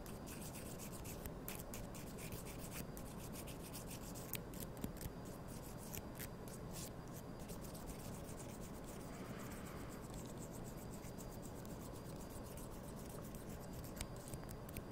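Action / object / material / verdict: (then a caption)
scrape / wooden toothpicks / wood / none. Thin, small, solid wooden toothpicks are held in both hands and rubbed and scratched against each other with the fingertips. The result is a quiet, steady, dry rubbing and scratching texture, scattered with faint, sharp little ticks throughout.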